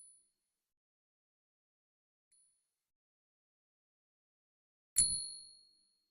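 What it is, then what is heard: Silver dollar with a clear ring. A 1921-D Morgan silver dollar, bought for $28, is ping-tested by striking it with a nail because the usual ping tester is locked in the safe. After faint traces of earlier ringing, a single strike gives a short low knock and a clear, high, bright ding that rings out for about a second. The coin rings as silver should.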